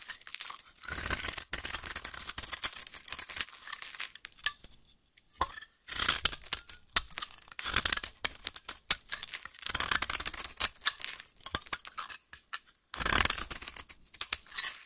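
A small metal blade shaves and scrapes curls off one end of a solid rectangular pink bar of soap held in a hand with long nails. Dry, bright scratching and tearing sounds come in bursts of quick rasping strokes, separated by short pauses.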